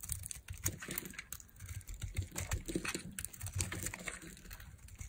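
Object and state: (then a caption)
Dry soap bar being carved. A palm-sized solid white bar of dry soap, held in one hand with long nails, is carved with a small metal blade that shaves off thin flakes. Quiet, rapid scraping and cutting clicks patter densely over a soft low rumble, with crisp bright edges on each stroke.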